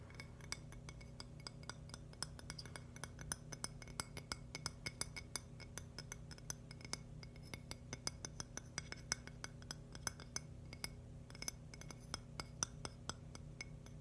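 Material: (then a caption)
Agate stone. Fingertips and nails tap quickly and irregularly on the face of a thin, flat, polished, hand-sized slice of purple-and-white agate with a rough crystal rim, held up in one hand. Each tap is a quiet, bright, glassy click that dies almost at once, over a steady low hum.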